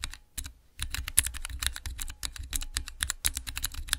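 Fingertips with long nails press and type on the transparent keycaps of a small clear acrylic Cherry MX mechanical keyboard switch tester resting on black cloth. A rapid run of short, crisp clacks follows a brief pause near the start, each keystroke a bright tick over a soft low thud.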